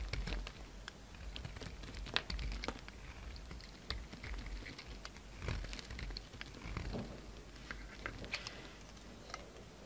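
A utility knife blade shaves and scrapes the edges of a faceted solid pink soap bar held in the hand. Quiet, dry crackling scrapes and quick bright ticks come in uneven bursts over a soft low rumble.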